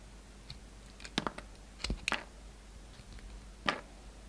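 A solid pink bar of soap, held in both hands, has thin slices cut off it with a yellow utility knife blade. Short, crisp, crunchy scraping cuts come in a few quick bursts over a quiet background, each bright and dying away almost at once.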